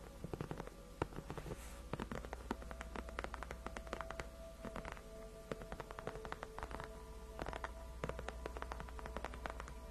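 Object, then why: Padded faux-leather chair backrest. Long nails quickly rub and scratch the surface of a large white padded faux-leather (PU) gaming chair backrest that is solid and cushioned. The result is a quiet stream of rapid, dry scratchy ticks and crackles over a steady low hum, with faint sustained mid tones running through.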